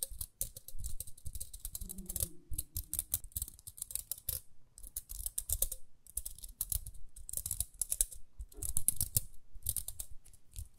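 A small, round, pink plastic detangling hairbrush with a dark bristle grid is held in the hands and scratched and tapped with long nails along its rim and bristles. Rapid, dense, crisp clicks and scratchy ticks come in uneven bursts, with bright, brittle edges over soft low thumps.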